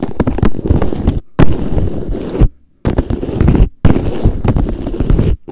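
A pink hollow cone, probably plastic, is held upright while fingertips and nails tap and scratch its surface. Dense, dull, low thumping taps mix with scraping in four bursts separated by brief silences.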